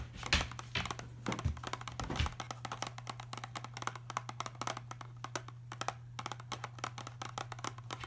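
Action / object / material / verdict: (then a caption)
tap / small cardboard medicine box / cardboard / none. Fingertips tap and scratch the surface of a small printed cardboard Robax pill box, likely hollow with contents inside, lying on a cardboard case. Quick, dry, papery taps and scrapes land in rapid, uneven bursts, with a few heavier, thumpier knocks near the start. A steady low hum runs underneath throughout.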